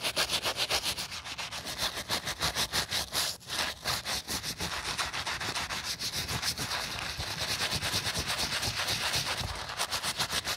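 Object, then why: Rubber and foam sneaker midsole scrubbed with a bristle brush. A gloved hand scrubs a wooden-backed bristle brush back and forth over the foam-covered white rubber/foam midsole and heel of a sneaker resting on a towel. The result is a steady, rapid run of bright, hissy scrubbing strokes that stay fairly even in loudness throughout.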